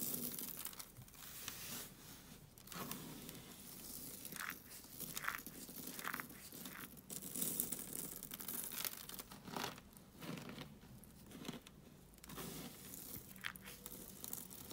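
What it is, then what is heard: Dry soap flakes crushed. Pink dry soap flakes and powder on a foil sheet are pressed flat under both palms, then rubbed and crumbled between fingers with long glittery nails. The result is quiet, dry crunching and crinkling in short bright bursts over a continuous gritty rustle.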